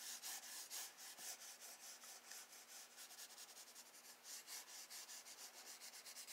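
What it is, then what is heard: Graphite pencil drawing on sketchbook paper. A wooden graphite pencil sketches wave lines across a page of a spiral-bound drawing-paper sketchbook lying on a wooden desk, using short scratching and rubbing strokes. The strokes come as a steady run of quiet, bright, hissy scrapes that swell and fade in quick succession, with almost no low end.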